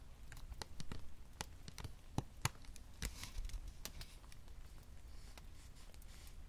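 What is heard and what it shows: Long manicured nails and fingertips tap and scratch along the grip, triggers and top edge of a hand-sized, hollow-shelled white and black plastic Sony PlayStation Portal handheld console. Quick, sharp clicky taps with bright, crisp edges die away almost instantly, mixed with soft scratchy brushing over a low, quiet rumble.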